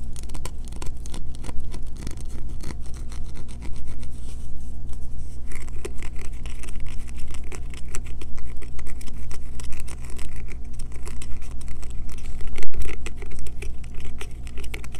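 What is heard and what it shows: Long fingernails rapidly scratch and tap a solid green bar of soap held in the hands, with shavings collecting on the table. Dense, dry, crackling scrapes and quick taps run continuously over a steady low hum, with a slightly louder burst near the end.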